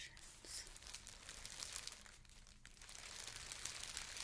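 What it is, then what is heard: Plastic air-cushion packaging. Fingers with long nails crinkle and rub a translucent green plastic air-pillow packing cushion, a thin hollow film filled with air, while holding it up. The result is a quiet, steady stream of bright, dense crinkling and crackling, mostly in the high range, with irregular small surges.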